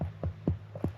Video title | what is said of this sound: Сокотра - Самый инопланетный остров в мире [Eng Subs] | It collects water. Can you hear the sound if you knock?